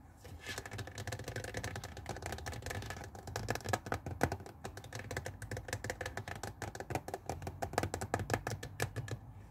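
Fingers rub and scratch the hollow blue plastic water tank of a handheld garment steamer resting on a wooden table, then move to the dark plastic rim near the brush head. The result is a dense run of quick, dry scratching clicks over a low, steady rumble.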